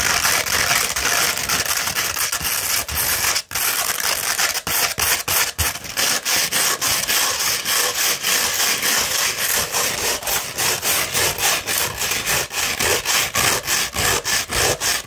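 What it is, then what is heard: Coarse sandpaper being scratched. Long red fingernails scratch vigorously across a rolled, hollow cone of coarse beige 60-grit sandpaper. The result is a dense, bright, gritty rasp in quick, uneven strokes, about three or four per second, with almost no low end.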